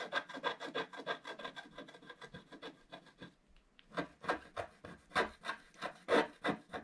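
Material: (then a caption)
Coated paper. A pointed wooden stick scratches the flat black wax coating off a scratch-art page laid over colored paper in a book, resting on a table while the other hand holds the page. Quick, raspy scraping strokes repeat at a brisk, uneven pace, with a short pause partway through before a louder run of strokes. Each stroke is dry and bright with almost no ring or low end.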